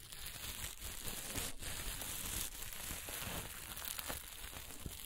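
Reversible green, blue and black sequin fabric is held in the hands while long nails flip and scratch the sequins. The result is a steady, fast crinkling and scratching texture with a bright, hissy top and a low rumble underneath, punctuated by brief sharper clicks.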